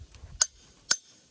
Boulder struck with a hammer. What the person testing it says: that one sounds like nothing